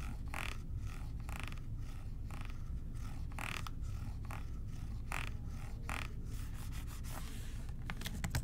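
Fingertips tap and rub the body and white trigger of a blue plastic spray bottle. Soft, short taps and brushing scrapes come in quick bursts of bright, hissy texture over a steady low hum. The sound stays quiet and even throughout.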